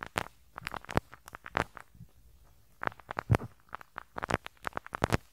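A pink rubber-bristle brush scratches and rubs across the small hollow metal mesh grille of the right capsule on a handheld stereo recorder. It makes a quick, uneven series of short crackly scratches and soft bumps with a dull low thud in each stroke and no ring. Some strokes land harder than others.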